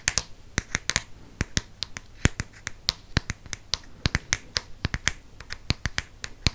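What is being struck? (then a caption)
Hardcover book cover. Fingernails tap rapidly on the front cover of a green Harry Potter hardcover book. About 31 sharp, dry, clicky taps come in an uneven stream, each bright and cut off almost instantly over a faint low hum.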